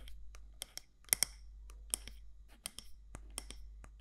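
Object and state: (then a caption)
Candle jar tapped with fingernails. Long nails tap about ten times on the side walls of a medium matte black candle jar, glass or ceramic, with a gold lid. Each tap is a short, bright click that dies away almost at once, over a steady low hum.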